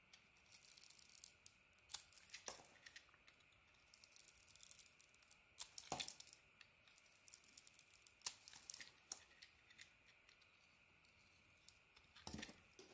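A hand-sized rectangular bar of soap with a red textured coating over an orange core is held in one hand while a metal carving blade shaves and peels curls off its surface. Quiet, bright, crisp scraping and cutting strokes come in short irregular bursts over a faint steady hiss, with a few sharper, louder cuts standing out.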